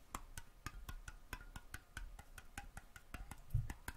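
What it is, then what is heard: Metal jar lid. Fingertips and nails tap a round, thin, hollow metal mason jar lid, removed from its jar and held in the hand. The result is a steady series of quick, light, dry taps, each with a brief faint ring.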